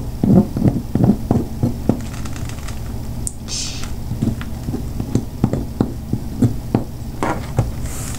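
A metal butter knife scrapes and cuts a solid chunk of white bar soap held on a table, shaving off flakes while a separate soap piece lies untouched nearby. The sound is a series of short, dull, low-pitched taps and scrapes with almost no ring, plus a few brief bright hissy swishes over a steady low hum.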